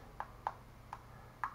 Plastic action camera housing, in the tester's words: just a real thin hollow sounding clicking plastic